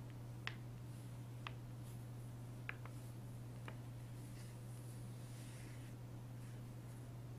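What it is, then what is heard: Glossy paper magazine. Fingertips with short nails trace and rub across the printed page of an open glossy paper magazine with thin sheets, lying flat on a wooden desk. Five light, sharp taps stand out over faint, soft rubbing. A steady low hum runs underneath throughout, and the whole clip is very quiet.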